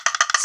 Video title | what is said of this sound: Avengers Infinity War: Thors weapon quest set review | You shake it around, it's solid. Not a lot of clacking around, except for Thor, because that's not a very tight connection.